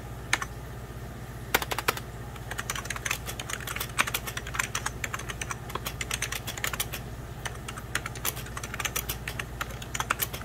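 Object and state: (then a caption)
Plastic computer keyboard being typed on. Both hands type with fingertips and medium-length nails on a beige plastic 1990s Packard Bell computer keyboard. Quick, bright clicks and taps come in uneven bursts with short pauses, over a steady low hum.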